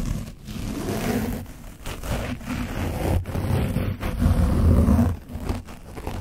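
A foam brush is scrubbed over the top of an orange foam microphone windscreen coated with dried paint. The scrubbing makes dense, low, rumbling scratches with rough strokes that swell and fade, broken by brief quiet gaps.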